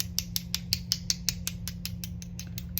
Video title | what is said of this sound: EASY ACRYLIC APPLICATION STEP BY STEP FOR BEGINNERS!! | as you can hear tapping all around that's how you know that it is ready if you don't hear it